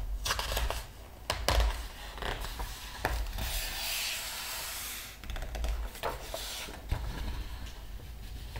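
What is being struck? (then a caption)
Large book with glossy paper pages. Fingertips rub and press on a glossy paper page of a large open art book, then the pages are turned. Soft, steady rubbing and papery swishes are broken by sharp page flicks and crisp rustles, with a bright hiss that swells around the middle as a page is swept over.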